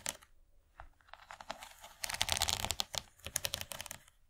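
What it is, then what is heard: Plastic serving tray tapped with nails. Long nails of both hands tap along the far ridge of an empty, rigid yellow plastic corn-shaped serving tray. A quick, irregular run of dry, bright clicks swells into a denser flurry in the middle, then thins out. Each tap dies away almost instantly.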